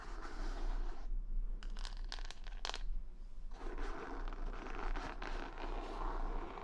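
Long nails scratch across plastic rhinestone stickers covering the back of a wooden hair brush held in the hand, making dense, gritty scraping with brief sharp clicks over a steady low rumble. The scratching thins out and turns clicky in the middle, then returns fuller as the brush is turned at the end.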